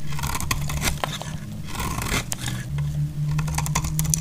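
A metal utility-knife blade scrapes and cuts along the edge of a solid, dry cream bar soap, giving dry scraping with brief bright, crackly snaps scattered throughout. A steady low hum sits underneath the whole time.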